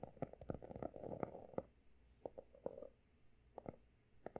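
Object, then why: Closed hardcover notebook with embossed cover. Fingertips tap and scratch the pale blue embossed cover and edge of a closed, solid, textured hardcover notebook. A dense flurry of quick, dry taps over a scratchy rustle opens the clip, then gives way to sparser, separate clicks and a brief scrape. Each tap has a muted midrange tone around 520 Hz and dies away almost instantly.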